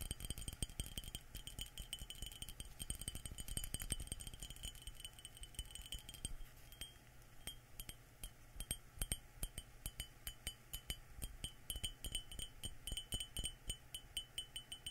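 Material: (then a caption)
Ceramic. An empty, hollow yellow glazed ceramic mug with a white inside is held in both hands and tapped on its outer wall with fingertips and nails, while a small spray bottle is held but not tapped. Rapid, dense clicks and bright, short-ringing clinks come in the first six seconds, then settle into sparser, crisp taps. A quiet low rumble sits beneath them.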